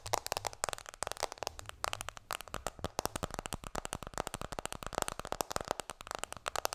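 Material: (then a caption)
Plastic. An iPhone in a black plastic case, held in both hands, is tapped rapidly with fingertips and long nails. A fast, steady stream of short, dry clicks and light knocks follows, each bright with a mid-range body and no ring afterward.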